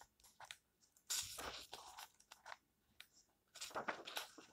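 Fingers flip the paper pages of an open book one by one, making soft, bright rustles and crisp crackles. Louder sweeping page turns come in bursts, separated by near-silent pauses.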